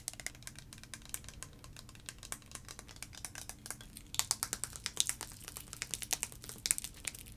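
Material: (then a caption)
Plastic. A liquid-filled clear plastic tube with blue caps is tapped and scratched with long nails and shaken. It makes a rapid run of quiet, bright, dry clicks and scratchy ticks over a faint low hum, and the taps grow sharper and louder in the second half.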